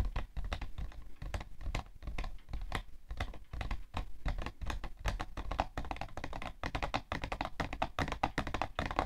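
Long nails and fingertips tap quickly on the side panel of a hollow, printed cardboard tissue box. The result is a dense, irregular run of dull, hollow thunks mixed with short, sharp nail clicks, each dying away almost at once.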